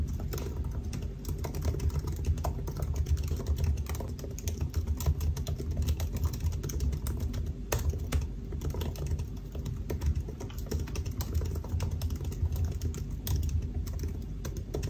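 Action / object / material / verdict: tap / laptop keyboard, plastic keys in a metal body / plastic / none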